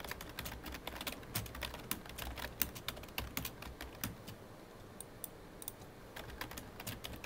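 Both hands type with their fingertips on a full-size black plastic computer keyboard with a hollow body, producing a quick, irregular stream of short, bright key taps over a soft low thump. The clicks are dry with almost no ring, and the typing eases into a brief lull near the middle before picking up again.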